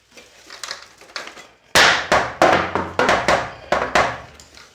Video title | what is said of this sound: Casio Casiotone CT 360 Repair | something rattling around in here